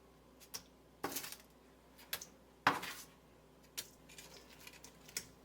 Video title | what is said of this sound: Crispiest Baked Buffalo Wings - AnitaCooks.com | You can hear how crispy they are.